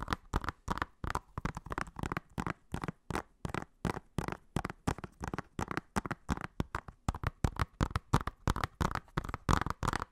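Fingernails tap and scratch the front and spine of a hollow blue plastic Blu-ray case in a quick, uneven stream of short clicks. Each tap is dull and clipped with almost no ring, weighted toward low, hollow tones, with faint scratchy texture between the taps.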